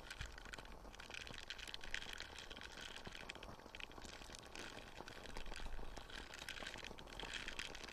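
A small light-blue silicone dish scrubber with ridged nubs is held close to the mic while fingers scratch and rub across the nubs. The result is a quiet, continuous, dense scratchy crackle with a bright hiss on top and a low rumble underneath, swelling slightly toward the end.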